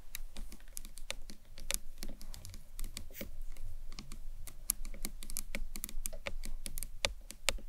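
Long nails tap quickly on the top edge of a hollow green marbled acrylic box clutch. The taps are sharp, dry clicks with bright, short-lived attacks that die away almost instantly, over a steady low background hum for about eight seconds.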